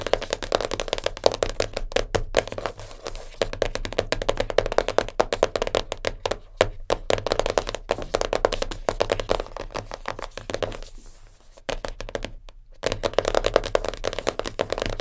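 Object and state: Cardboard puzzle box.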